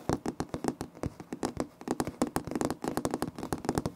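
Fingertips and short nails of both hands scratch and tap a flat, solid, light wood-grain laminate floor plank with a visible seam, in front of a Tascam recorder. A rapid, uneven string of dry, short taps with soft scratching between them comes through, each hit giving a dull, woody knock centered in the low mids with almost no ring or bright edge.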